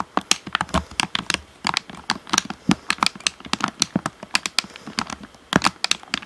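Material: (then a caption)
Plastic. A black, hand-sized, hollow plastic Xbox One controller is held face-up and tapped with fingertips on its face and around the buttons and sticks. The result is a quick, irregular run of short, dry, clicky taps with a bright plastic edge and almost no ring, like rapid typing on a keyboard.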